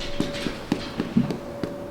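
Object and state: Baked-through bread roll (hollow tap).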